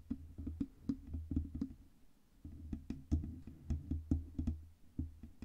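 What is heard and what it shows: Long red nails tap rapidly on the sides and front of a black Blue Yeti microphone's hollow metal cylindrical body. The taps come as quick, dull, low-pitched knocks with a boomy thump and almost no ring, pausing briefly near the middle before resuming in uneven bursts.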